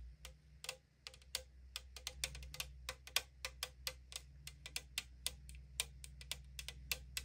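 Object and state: Aluminum drink can tapped with fingernails.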